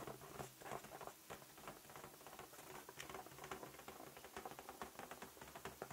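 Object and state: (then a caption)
Latex balloon tapped. A large, inflated, light-blue latex balloon, hollow and air-filled, is held close and tapped quickly with fingertips and nails. The result is a quiet, continuous patter of soft, short taps, each with a hollow, slightly drumlike tone and a brief bright click, dying away almost at once.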